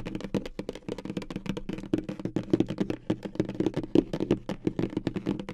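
Long acrylic nails tap fast on the lid of a hollow, medium-size pink polka-dot cardboard gift box. The result is a rapid, continuous stream of short, dry, hollow clicks with a low-mid body around 300 Hz and almost no ring, varying slightly in loudness.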